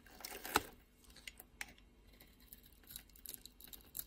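A utility blade scores and scrapes the surface of a solid, hand-size blue soap bar held in the palm, shaving off flakes. Crisp, dry scratching and short ticking cuts are heard, with a louder sharp scrape early on and lighter, bright clicks spaced out after it.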